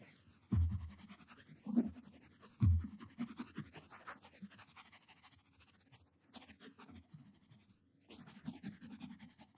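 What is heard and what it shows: Short nails and fingertips scratch the looped pile of a purple textured cotton terry towel draped over a padded object, then pointing fingers scrape across it. The result is soft, muffled, low-heavy scratching with a few louder rubbing bursts early on, settling into quieter, irregular strokes with a brief lull near the end.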